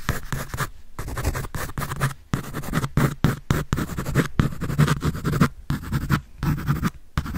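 A graphite pencil scribbles and scratches across a large white paper sheet on a sketch pad held upright close to the mic. Dry, scratchy bursts of strokes start and stop with brief silent gaps between them, and each stroke carries a steady low rasp beneath its brighter grainy hiss.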